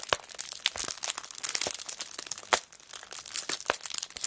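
Fingers with long nails crinkle and press the cellophane wrap on a kraft paper notebook, which is held and then laid flat. The result is a dense run of bright, dry crinkles and sharp crackles with almost no low end, each snap dying away almost instantly.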